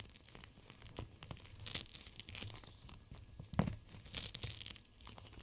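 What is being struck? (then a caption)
Gel bead pack in clear plastic. A clear plastic gel bead cold/hot pack is held in both hands and squeezed and bent by fingers with long nails. The result is soft crinkling and crackling with quick tearing-like rustles and a low rumble underneath. Around the middle comes one sharper, louder crunch.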